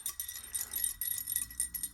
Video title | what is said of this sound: Working On One Of The Iconic Mountain Bike Forks Of The 90's - The Switchblade | So there's something loose inside this arm.